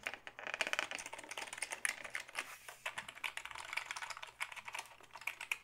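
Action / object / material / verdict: tap / plastic computer keyboard / plastic / none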